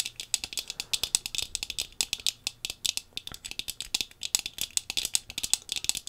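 Long pink fingernails rapidly tap the brown-tinted lenses of thin-framed sunglasses worn on the face. About 45 crisp, bright clicks land in quick, uneven bursts. Each tap is very short and high-pitched, with almost no low end and no ring.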